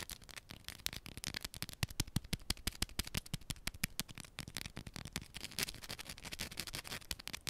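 A small solid yellow bar of soap has its sides scratched and tapped quickly with long pointed nails. The result is a dense, irregular run of sharp, dry clicks and scrapes, with no voice.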